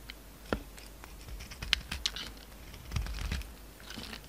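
A solid lilac soap bar with a glittery silver coating, held in the hand, is carved and shaved with a utility knife blade. Crumbly pieces fall off with sharp, bright scraping crunches and light crackling over a soft, low background.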